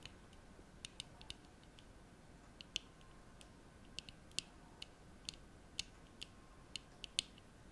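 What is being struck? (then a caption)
Plastic-framed eyeglasses. Long nails tap the frame and lenses of a small pair of black plastic-framed eyeglasses held up in the hands, and open and close the folding arms. About eighteen sharp, bright, dry clicks come at uneven intervals over a quiet, faint background hiss.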